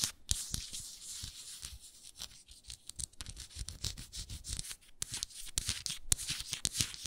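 Long nails scratch and tap the frosted glass bottom of a hexagonal frosted glass moisturizer jar with a wooden lid, its base turned outward. A bright, hissy scraping texture is punctuated by many sharp, quick taps with almost no ring, plus a soft low thud under some hits.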